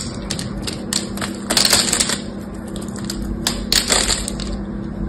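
A knife blade carves brittle flakes off the surface of a solid green bar of soap with a gold coating, held in the hand. Bright, crisp scraping and crackling bursts come in uneven strokes, with the loudest clusters near the middle and end over a steady low hum.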